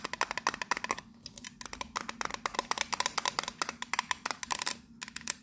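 Long nails tap quickly on the teal lid and then the side of a tall pink printed metal biscuit tin. About 36 sharp, bright clicks come in fast bursts with two brief pauses, each with a short tinny ping and almost no low end.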